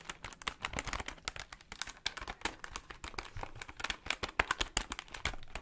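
Fingertips tap quickly on the plastic buttons of a plastic desktop calculator held beside the mic. The result is a rapid, uneven stream of short, dry, bright clicks with almost no ring and a faint low rumble underneath.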